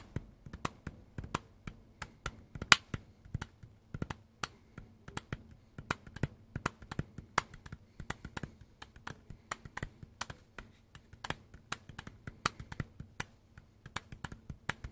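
Fingertips tap the plastic housing of a hand-sized, dark green and black Makita power tool battery pack held in both hands. The taps come in a quick, steady rhythm as sharp, dry, bright clicks that die away almost instantly. A faint low hum runs underneath throughout.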